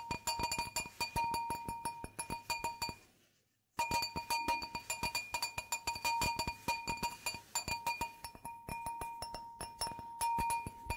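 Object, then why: Glass wine glass. An empty, clear, hollow stemmed wine glass is held on its side and tapped with long nails along the bowl and stem. It gives a rapid stream of short, bright clinks, each ringing briefly at a steady pitch near 940 Hz with higher overtones. The tapping pauses for a moment of near silence around the three-second mark, then continues.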